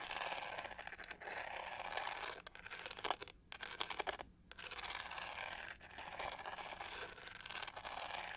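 A hollow plastic hair brush with a pyramid-textured pink-gold back is scratched with long nails, giving a dense, bright, rasping scratch. The scratching runs nearly continuously, with brief quiet gaps around the middle of the clip.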